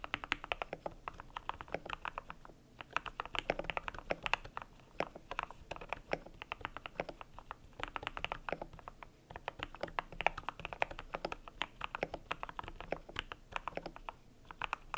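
Fingertips type steadily on a cream compact mechanical keyboard with PBT plastic keycaps. It produces a dense, continuous run of short, crisp clacks with a mid-pitched, slightly bright tone. Each keystroke dies away almost instantly, with only brief pauses between bursts.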